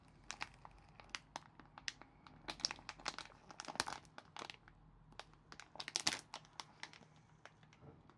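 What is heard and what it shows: Gloved fingertips grip a small, thin, flexible red printed plastic film packet of Asda cola bottle sweets, full of sweets, and tear it open. The film gives off a quick, uneven run of sharp, bright crinkles and crackles with a few louder rips, each dying away almost instantly, over little low-end body.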